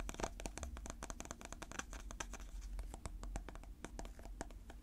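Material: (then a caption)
Plastic. Natural fingernails tap and scratch the lid and sides of a small, round, clear plastic container filled with purple slime, held in the hand. Quick, dry clicks and light scraping come in a rapid, uneven stream, each tick sharp and bright and dying away almost at once over a soft low hum.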